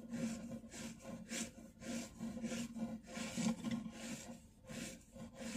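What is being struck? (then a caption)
Plastic-coated jump rope cord. A thin, solid, blue-and-white striped plastic-coated jump rope cord is held, rubbed between the fingertips and thumb, and bent and rolled near a dark wood-grain shelf. Repeated soft rubbing strokes swell and fade, each carrying a low, steady creaking tone with a bright, airy hiss on top.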